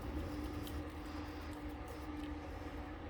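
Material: Nothing is struck.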